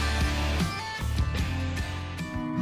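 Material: Nothing is struck.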